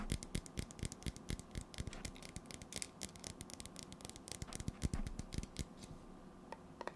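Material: Metal.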